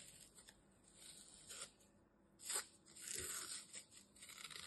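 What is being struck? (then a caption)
Green floral foam piece cut with a knife. A metal utility knife slices and tears through a small, solid piece of green floral foam with glitter held in the fingers. The result is a series of quiet, bright, crunchy tearing and scraping bursts, mostly high-pitched hiss with almost no low end and very short decay.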